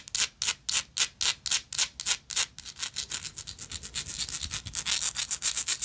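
Long nails scratch across the engraved texture of a gold metal lighter in rapid back-and-forth strokes. Each stroke is a bright, high, raspy hiss with almost no low end. The strokes start distinct and evenly spaced, then quicken and blur together toward the end.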